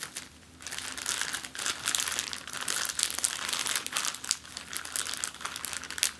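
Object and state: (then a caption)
Plastic zip-lock bag being crinkled. An empty clear plastic zip-lock bag lying flat on a table is crinkled and scratched with fingertips and long nails. The result is dense, bright crackling and rustling that comes in uneven bursts, with almost nothing in the low end.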